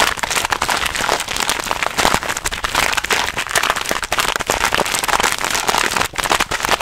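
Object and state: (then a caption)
Plastic snack bag. Hands grip, crinkle and squeeze a hand-sized, purple printed plastic snack bag that appears to hold contents, close to the mic. A dense, continuous bright crackling with sharp snaps fills the clip, with almost no low end and brief dips between squeezes.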